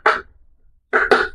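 Knocks on a wooden table, giving the sound of real wood for comparison, unlike a rock. Three short, hollow knocks are heard, the first alone and the last two close together after a pause, each with a mid-pitched, woody tone that fades quickly.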